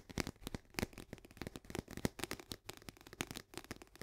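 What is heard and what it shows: A partly filled Orzo Bimbo barley coffee-substitute canister, a medium paperboard cylinder with a green plastic lid, is held in both hands and tapped on its sides with long painted nails. About 23 fast, dry taps come in quick succession, each a short hollow thud with a bright click that dies away almost instantly.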